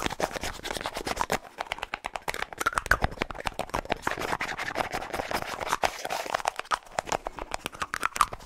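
A small, hollow white plastic deodorant tube with a light blue plastic cap is held close and tapped and scratched quickly with fingernails. The result is a rapid, dense stream of sharp clicks and scratchy rasps with a bright, hollow plastic tone centered in the upper mids. Every tap dies away almost instantly.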